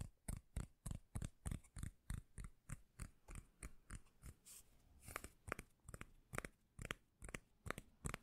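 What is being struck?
Cork lid.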